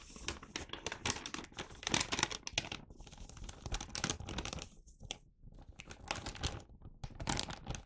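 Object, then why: Paper gift bag. An empty, medium-size red paper gift bag with a Santa print is held in both hands and turned over while fingertips handle, rub and flex the paper. The result is a steady run of bright, dry crinkling and rustling, with short louder bursts and brief quieter gaps.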